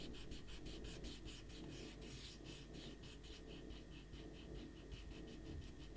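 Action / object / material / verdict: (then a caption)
scrape / stack of paper sheets rubbed with a rubber eraser / paper / none. A small rubber eraser is rubbed hard across a stack of thin white printer paper with a pencil drawing on a white table, while the other hand steadies the sheets. Quick, rhythmic back-and-forth strokes make a bright, scratchy rasp over a steady low rumble.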